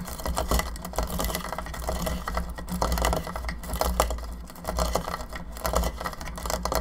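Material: Plastic.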